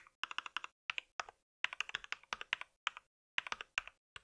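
Fingertips of both hands type rapidly on a compact white mechanical keyboard with plastic keycaps and a solid body, resting on a pink surface. About 28 short, bright, clacky key taps come in quick bursts with brief pauses between them. Each tap dies away almost instantly.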